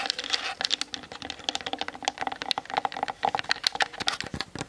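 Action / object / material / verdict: tap / plastic camera body tapped with long nails / plastic / none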